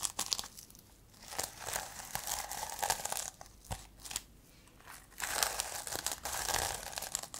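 Long nails scratch the plastic sequin cover of a sequin-covered notebook held close to the mic, flipping the sequins between blue and multicolour. Bursts of bright, crinkly scratching and rustling come and go, with quieter stretches between them and a denser, louder patch near the end.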